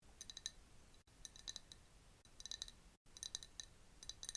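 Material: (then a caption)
Glass. A clear glass jar partly filled with liquid, with a bamboo straw inside, is tapped with long nails close up. The result is bursts of bright, quick clinking taps with very short ring, in four clusters separated by brief silences.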